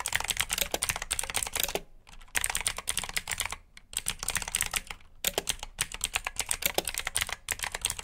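Both hands type with their fingertips on a black plastic backlit mechanical keyboard with blue switches. The result is a rapid, bright, clicky clatter of keystrokes. The typing pauses briefly around the two-, four- and five-second marks.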